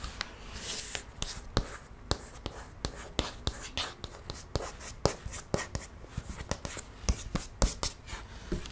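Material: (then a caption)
Paperboard. Long nails trace and scratch across the thick laminated paperboard page of a board book held up in the air. Soft, bright scratching strokes mix with a quick series of sharp, dry ticks that stop almost instantly, at a quiet level throughout.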